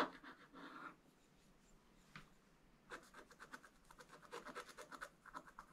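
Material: Coated paper.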